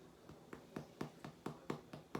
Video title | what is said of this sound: Baking Bread with Charlie Five | If it sounds hollow, it's pretty done.